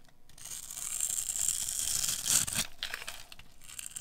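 A metal blade carves small cubes off a hand-sized pink bar of dry soap scored with a grid of cuts. It makes a bright, crisp scraping and crumbling sound that builds to its loudest around the middle. It then breaks into a string of quieter, dry crackles as the pieces fall away.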